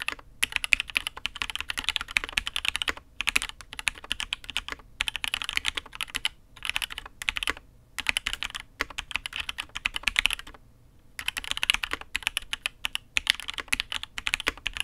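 Both hands type with their fingertips on a custom Matrix 8xv 2.0 mechanical keyboard with INK Black, an aluminium case and red and grey ABS keycaps. Rapid, bright, crisp clacks come in dense bursts separated by brief pauses, with a longer gap about two-thirds of the way through. Each keystroke is short and snappy, with almost no low-end thump.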